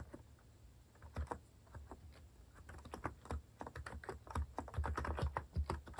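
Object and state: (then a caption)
Mechanical keyboard typing. Fingertips type rapidly on a compact white plastic mechanical keyboard with cat keycaps. Short, dry clacks with a low thump start sparse and soft, then grow into a denser, louder run of keystrokes in the second half.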